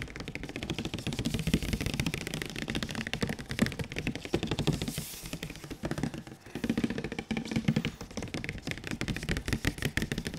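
A large printed cardboard PS4 Pro box is held upright while its front face is tapped with the fingertips and palms of one gloved and one bare hand. Rapid, dry, hollow taps follow one another in a dense, uneven rhythm, with a low, boxy resonance and very little ring. The tapping briefly drops off just after the midpoint, then resumes.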